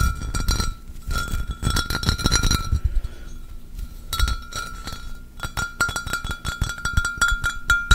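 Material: Glass.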